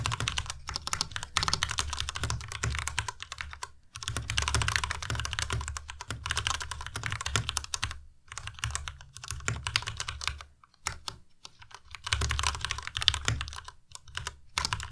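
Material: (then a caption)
Plastic. Fast two-handed fingertip typing on a white tenkeyless Ducky Miya Pro mechanical keyboard with plastic keycaps, resting on a desk mat. Dense bursts of bright, crisp key clacks with a soft low thud beneath them are broken by brief pauses. The clicks are short and dry, with almost no ring.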